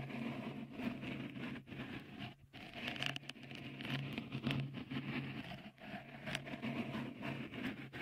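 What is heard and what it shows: Fingertips tap and scratch a small, hollow, white dimpled cover, likely silicone, fitted over the right microphone capsule of a Tascam recorder. The result is a continuous, close, papery patter of soft scrapes and light taps with bright edges, over a steady low hum.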